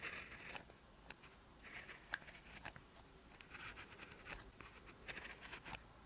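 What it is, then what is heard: Ballpoint pen writing on lined paper. An orange ballpoint pen tip scratches across a lined paper sheet while writing Korean text, heard close-up as quiet, steady writing strokes. The strokes come as soft, bright scratches with short, sharper ticks between brief pauses.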